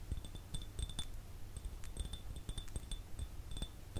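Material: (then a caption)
Glass. An empty clear glass jar is tilted while fingernails tap and scratch across it. Quick, bright clinks with short high ringing tones sound over a steady low rumble, each tap dying away almost at once.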